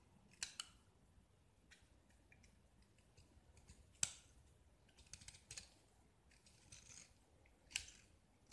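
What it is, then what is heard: Gypsum plaster block being scraped. A metal utility-knife blade scrapes and carves a small, solid, hand-held gypsum (plaster) block coated in yellow paint, and white chalky shavings fall off. Quiet, bright, dry scratching strokes and short crisp scrapes come in irregular bursts, with a few sharper snaps standing out over a faint low background.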